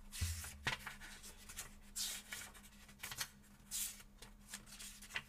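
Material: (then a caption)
Paper. Fingertips flip and riffle the paper pages of a thin paperback book held open over a table, while two other books lie flat and untouched beside it. Crisp, bright papery rustles and sharp flicks rise and fade over a faint low hum.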